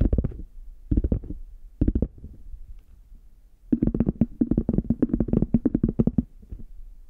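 Fingertips and nails tap and scratch the front of a brown, chocolate-bar shaped hard case covered in faux leather, held closed in both hands. Three short bursts of quick, muffled, low tapping are followed by a longer, dense run of taps with a hollow tone near 230 Hz. Each tap dies away almost instantly, with faint scratching between them.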